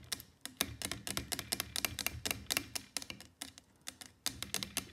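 Long fake nails tap and click on the neck and sides of a clear plastic Tesco water bottle that is partly filled with water. About two dozen quick, bright, hollow clicks come in an uneven, loosely paced rhythm, each dying away almost at once with a faint low thump beneath.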